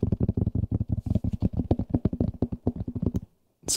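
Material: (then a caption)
Polyester felt. Fingertips rapidly tap and scratch the fuzzy surface of a thin, solid, hexagonal grey polyester felt sound-absorbing panel held in both hands close to the microphones. The result is a quick, irregular run of dull, muffled, low thumps with very little ring. After a brief pause, the clip ends in a short, bright scratchy hiss.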